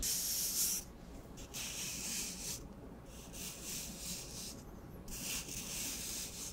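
Fingertips rub and scratch along the surface of an empty, hollow brown cardboard tube from a paper towel roll. The sound is a soft, bright, hissy scratching that comes in bursts with brief quieter gaps, over a faint low rumble.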